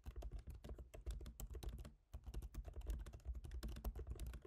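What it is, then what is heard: Laptop keyboard with plastic keys. Both hands type rapidly with their fingertips on a MacBook Pro keyboard, its black plastic keycaps set in a silver aluminum body. The result is a steady stream of soft, dull, low-weighted key taps that die away almost at once, with a brief pause about halfway through.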